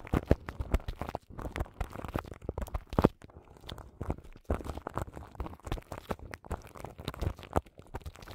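Long nails scratch crinkly plastic film wrapped around the grille of a large microphone. The result is a dense, continuous run of short crackling, crinkling scratches, heavy in the low end with little brightness, and irregular louder bursts throughout.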